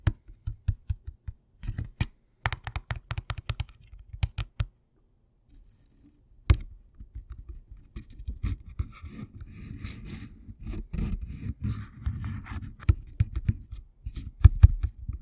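The hollow end of a Thin Mints cardboard candy box, held against the mic, is tapped and scratched with fingernails. Quick dry, boomy taps fill the first few seconds, then a short silence. A stretch of continuous scratchy rustling follows, broken by occasional sharp taps, all with a deep, close, low-heavy tone.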